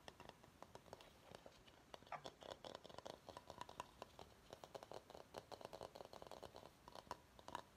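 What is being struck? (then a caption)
Bamboo bowl. Fingernails scratch and tap the outer base of a medium-sized empty bamboo bowl. A quiet, rapid run of dry clicks and scratchy strokes, each with a woody tone near 970 Hz and a very short ring, is layered over a soft rasping hiss.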